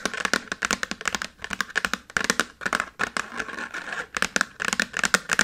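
A small dark chalkboard slate in a red wooden frame lies flat on a table while the fingertips and nails of both hands tap and scratch it quickly. Rapid bursts of sharp, dry clicks with a clicky tone around 1.4 kHz alternate with brief scratchy rasps, and each tap dies away almost instantly.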